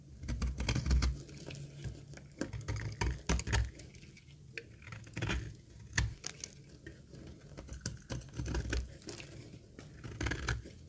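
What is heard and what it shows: A dry green laundry soap bar held in the palm has its surface cut and scraped with a metal box-cutter blade. The result is a steady run of short, crisp scraping clicks and crunchy flakes over a soft low rumble, with louder bursts around the start, middle and end.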